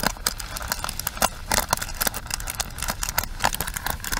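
Long nails tap and scratch the bristle pins and frame of a pink plastic paddle hairbrush held close. A rapid, uneven series of short, sharp plastic clicks and dry scratching crackle rings bright against a faint low rumble, each tap dying away almost instantly.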